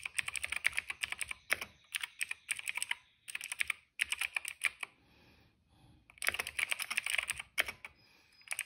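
Fingertips type on a cream plastic retro mechanical keyboard with plastic keycaps and a hollow case. Quick runs of bright, sharp clacking keystrokes come in bursts separated by brief pauses, including a short near-silent stretch midway. Each click dies away almost instantly, with the sound sitting mostly in the high range and no low-end thump.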